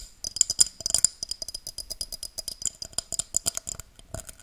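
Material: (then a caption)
Glass. A tall, empty, hollow pink-tinted drinking glass, held upright above the mic, is tapped and scratched with long dark-painted nails. It makes a rapid, uneven run of sharp, bright clicks and clinks with a thin high glassy tone, almost no low end, and very short decay.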